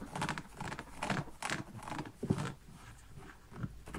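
Fingernails scratch the fabric upper and the insole of an empty small kids' printed canvas slip-on shoe with an elastic band and rubber sole. Soft, dry scratching strokes come in irregular bursts, with bright fabric rasp over dull low rubs and a few firmer taps. The sounds are close and quiet, each dying away almost at once.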